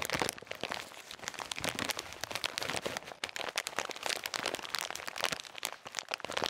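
A full plastic bag of salted peanuts is squeezed and crinkled with the fingertips close to the mic. It gives a dense, steady run of bright, sharp crackles and crunches with almost no low end. Each snap dies away instantly.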